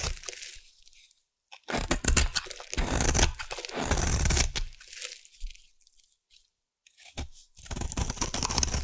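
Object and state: Bar soap being carved.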